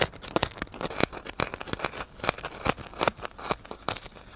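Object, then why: Styrofoam block. A solid white styrofoam block is held upright in the hand while fingers and a needle scratch and crunch its surface. This produces a rapid series of crinkly, tearing-like squeaks with sharp, bright transients and almost no ring.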